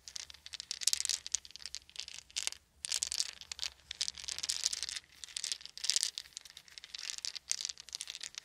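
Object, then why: Small wooden beads. A handful of small, solid wooden beads is shaken and rolled between cupped palms. Bright, dense clicking and rattling comes in rolling bursts, with short pauses between them. The sound is crisp and high-pitched, with almost no low end.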